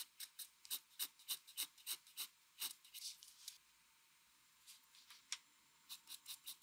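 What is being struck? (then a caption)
Pencil lead on a sheet of drawing paper. A mechanical pencil scratches quick hatching strokes across a flat white drawing paper sheet. The strokes make a rapid run of short, bright, raspy scrapes that pause briefly near the middle, then resume at a quieter level before picking back up.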